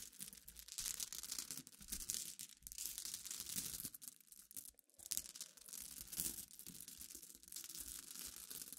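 Short and long dark nails scratch and rub a pile of small, clear, solid glass pebbles resting on a black cloth. The result is a quiet, continuous, bright, crisp rattling and scraping, with brief lulls between bursts of rubbing.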